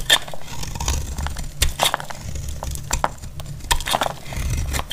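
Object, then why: Bar of soap shaved with a knife blade. A solid, dry, cream-colored bar of soap held in the hand is shaved into thin flakes with a utility-knife blade. Quick, crisp scrapes and crackles repeat in steady succession, each with a brief bright edge, over a low, constant rumble.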